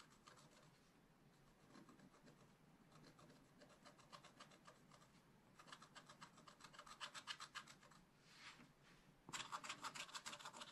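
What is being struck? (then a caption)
Wax-coated scratch-art paper scratched with a wooden stylus. A thin wooden stylus scratches the black wax coating off a scratch-art page in a spiral-bound book lying flat on a table, working on the giraffe area. Quick, bright, rasping strokes repeat steadily, growing denser and louder in the second half, with the loudest run near the end.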